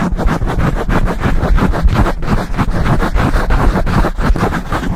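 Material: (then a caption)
Foam. Fingertips of both hands rapidly scratch and rub the sides of a dark foam microphone windscreen. The result is a dense, continuous rumbling scrape, heavy in low frequencies with a pulsing, rapid rhythm.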